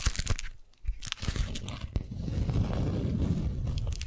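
A folded beeswax-coated cotton wrap sheet, held in both hands, is scratched and tapped with long nails on its stiff, waxy fabric. Sharp crinkly crunches and taps open the clip, a brief hush follows, and then a denser, steady scratching rustle builds. The overall sound is dull and low-heavy rather than bright.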